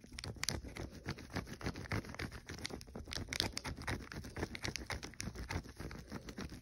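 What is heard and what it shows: Fingertips and nails quickly tap and lightly scratch the red plastic-foil wrapper of a full, unopened king size Kit Kat chocolate wafer bar resting on a dark blanket. Dense, irregular soft crinkly taps and scratches patter on steadily throughout, each dying away almost at once.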